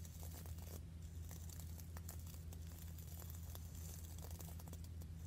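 Fingernails rapidly scratch the sandy-textured grey rim of a medium, hollow red glazed ceramic plant pot. A quick run of dry, crackly rasps and bright ticks sits over a steady low hum near 78 Hz, holding at an even, quiet level throughout.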